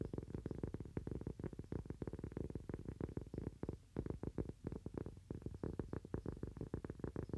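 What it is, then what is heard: Cork coaster. A thin, solid cork coaster held in both hands is tapped fast with fingernails, producing a rapid run of short, dull, low thuds with almost no bright content. The taps come in quick bursts with a brief lull near the middle, and each dies away almost at once.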